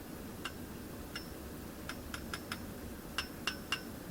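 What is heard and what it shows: Nine quick, bright clinks in small groups, each with a high metallic ring near 1.5 kHz and overtones above that fades in about a fifth of a second. It is a thin steel saw blade tapped on its shot-blasted outer rim. The damped ring suits thin sheet steel.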